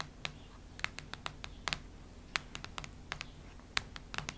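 Long nails tap and knock on the cardboard cover of a cactus-print hardcover notebook. About 17 short, sharp, bright clicks come at an irregular pace, each dying away almost instantly over a quiet, steady low background.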